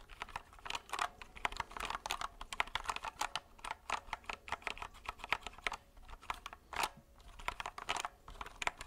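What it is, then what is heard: Plastic mechanical keyboard. A compact white mechanical keyboard with plastic keycaps and a hollow plastic case is held upright in both hands while fingertips quickly tap and press the keys. The result is a rapid, steady stream of sharp, bright plastic clicks and clacks with almost no low end, each dying away almost instantly.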